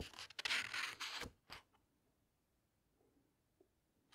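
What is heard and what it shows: Hands with long red nails quickly flip the glossy paper pages of a large, thick hardcover book lying open on a table, then smooth them flat. Bright, crisp rustling and swishing bursts fill the first second and a half, followed by near-silence with faint, soft brushing touches and a quick page sound at the very end.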